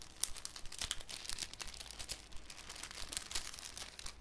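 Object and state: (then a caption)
Cellophane sheet. A thin, clear cellophane sheet is crinkled and stretched between both hands over a wooden table. Dense, irregular crackling fills the clip, with sharp, bright snaps and crisp high crinkles standing out above a soft, continuous rustle.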